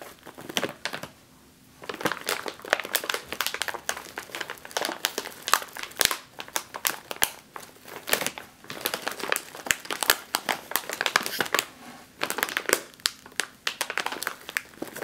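A sealed, metallized foil snack chip bag is pressed and squeezed with both hands and long nails. It gives off dense, bright, crackling crinkles in irregular bursts, with brief quiet gaps near the start and later on. The sound has almost no low end.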